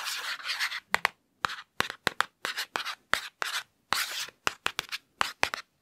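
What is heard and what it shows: Fingertips and nails trace and scratch the padded foam front cover of a medium hardcover children's picture book held upright. Quick, dry scratching and rubbing strokes come in short, bright bursts separated by brief silences, with almost no low end. The strokes start as a longer rub, then turn into rapid, sharp flicks with no ring after each stroke.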